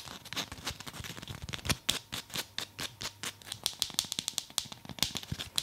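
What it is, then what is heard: Foam massage ball. Long nails tap quickly across a black speckled foam massage ball held in both hands. The result is a rapid run of short, bright clicks with very little low end, each dying away almost at once.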